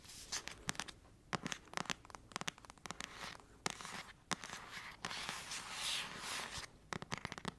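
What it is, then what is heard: Paperback book. Long acrylic nails scratch and tap the cover of the same thick paperback novel, making bright, dry clicks and rasping scratches with no ring. Sharp taps come in quick clusters between longer scraping passes, heard up close.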